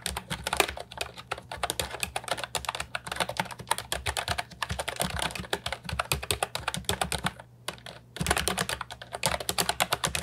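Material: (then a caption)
Plastic. Fingertips type continuously on an Ajazz 308I, a compact hollow plastic keyboard with round typewriter-style keycaps, producing a fast stream of short, bright clacky keystrokes. A low steady hum sits underneath, and the typing pauses briefly near the end before resuming.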